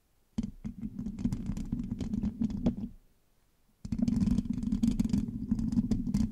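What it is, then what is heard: Metal microphone mesh grille scratched with nails. Long acrylic nails on both hands scratch and tap the hollow black metal mesh grille of a large USB microphone. Dense scraping with sharp, bright clicks sits over a boomy, rumbling low drone around 200 Hz. A stretch of about three seconds is followed by a short silence, then a second, louder burst.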